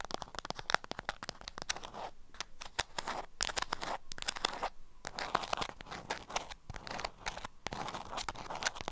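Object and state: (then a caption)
Beeswax food wrap, crinkly when scratched. A small bundle wrapped in orange-print beeswax-coated cotton is held in hand while long acrylic nails scratch and tap the crinkly waxed fabric. A dense run of sharp, dry crinkles, crackles and quick taps, bright and papery, comes in uneven bursts with brief quieter gaps.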